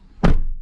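A steel Chevrolet car door is closed or thumped, giving a single deep, low thunk that sounds solid. It carries almost no high end and dies away quickly.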